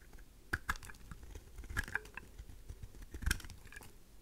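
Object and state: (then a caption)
Dry soap shaved with a blade. A craft knife blade shaves chunks off the edges of a faceted pink heart-shaped solid dry rose soap. Quiet, crisp snaps and crunches come in short, sharp bursts with a soft low thump beneath, over a faint hiss.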